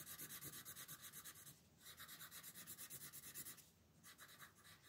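A red wooden colored pencil rubs in fast shading strokes over a dinosaur's body on a thin paper coloring book page resting on a table. The result is a quiet, bright, scratchy rasp in quick back-and-forth pulses, with two brief pauses where the strokes drop away before resuming.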